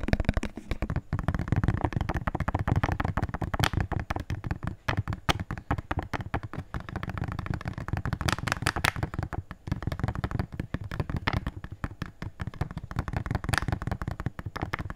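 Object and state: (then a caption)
Plastic jar tapped quickly. A small, hollow, empty, transparent plastic jar is held sideways and tapped quickly with fingertips and nails. The result is a dense, continuous run of rapid, dry taps, each with a low, hollow thump and a brief bright click. The taps die away almost instantly.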